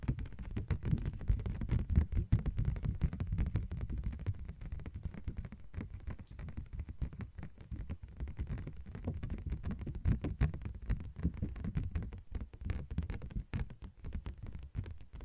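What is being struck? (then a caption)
Thin translucent plastic sheet. Long nails tap rapidly on a thin yellow-green translucent plastic sheet, making a dense, irregular patter of short, dull taps. The sound is muffled and low, with almost no bright edge, and each tap dies away almost instantly.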